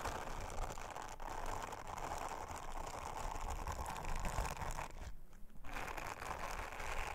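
Long-nailed fingers rub an orange silicone bristle scrubber over a round, flat, thin blue silicone honeycomb trivet, making a steady, dense, scratchy brushing and rubbing sound. A brief softer dip comes near the five-second mark before the brushing resumes at full strength.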